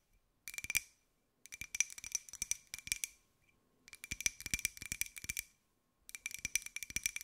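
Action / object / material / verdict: tap / ceramic mug / ceramic / none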